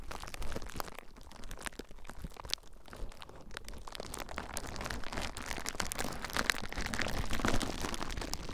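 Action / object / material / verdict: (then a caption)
scrape / plastic bubble wrap / plastic / none. Fingertips squeeze and pop clear plastic bubble wrap bundled around a recorder. Dense crinkling and crackling are broken by many sharp, quick pops at an uneven pace. The sound grows steadily louder and busier toward the end.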